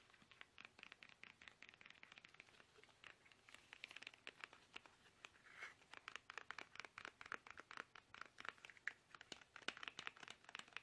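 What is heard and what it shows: Fingertips tap fast on a small, soft, hollow plastic toothpaste tube held upright in both hands. The result is a quiet, continuous stream of rapid, dry, crinkly clicks, bright and mostly mid-to-high in tone, with almost no low end. Each tap dies away instantly, and the taps sometimes bunch into louder flurries.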